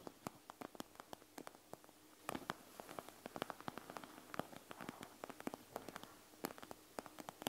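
Long acrylic nails scratch and tap across a flat, soft, panda-shaped eye mask whose clear plastic front is filled with small gel beads, lying on a wooden table. A quick series of sharp, bright plastic clicks and ticks with almost no ring comes over a faint, steady hiss, with soft squishy rustling between some taps.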